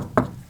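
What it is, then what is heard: Solid bonded boat transom. A knock on the resin-glued wooden transom of a 50-year-old boat, where a new wood piece was bonded with plenty of resin and the clamps have just come off. One short, dull thud with a low-mid body and almost no high end dies away quickly. The spot sounds solid.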